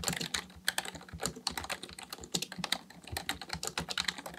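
Both hands type steadily with their fingertips on a black plastic full-size computer keyboard resting on a desk. The plastic keys give a rapid stream of short, bright clicks and clacks with almost no ring and little low end.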